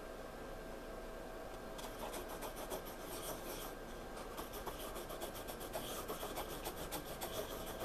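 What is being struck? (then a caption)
Pencil on paper sketchbook page. A hand drags a pencil tip across a page of a spiral-bound paper sketchbook in drawing or shading strokes. After nearly two seconds of faint, steady hiss, quick, uneven scratching strokes begin and continue to the end, each a soft, bright rasp over the low background noise.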